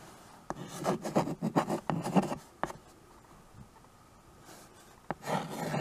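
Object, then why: Chalk on a painted board in a wooden frame. A white chalk stick writes and scratches across a small tabletop chalkboard, a dark painted board in a wood-look frame. Sharp chalk taps break up bursts of dry, raspy strokes. After a quiet pause near the middle, a single tap and a final scratchy stroke follow.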